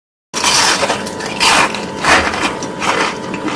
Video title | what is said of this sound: تا حالا سیب زمینی به این خوشمزگی نخورده بودم😋👌حیرت انگیزه با مواد کم در زمان کوتاه نتیجه عالیه🤩 | سیب‌زمینی به این تردی و برشتگی